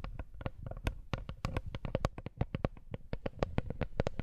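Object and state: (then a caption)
Wooden coaster. A wooden coaster is tapped in a quick, uneven run of about 28 light taps over four seconds. Each tap is a short, dry knock with a soft low thud and a faint hollow tone, dying away almost instantly with no ring.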